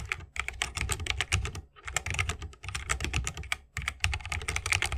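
Rapid key presses with the fingertips of both hands on a 60% mechanical keyboard with a bamboo wood case, plastic keycaps and tactile Holy Panda switches. The result is a fast stream of short, crisp clacks with a deep thock and bright clicky tops. The bursts are broken by brief pauses.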